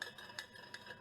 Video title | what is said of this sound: Fisica2 clase 13 11 parte 2 experimentos | Como escuchan ahí, tiene las cucharas adentro.